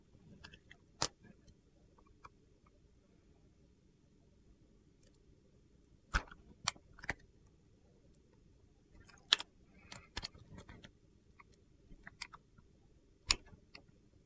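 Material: Soap.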